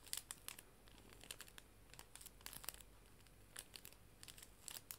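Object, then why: Clear plastic cello sleeve. A clear plastic cello bag holding paper art prints is held and crinkled with fingers and nails. Quiet, bright crackles and sharp, short clicks come in uneven bursts over a faint low hum, with each crinkle dying away almost instantly.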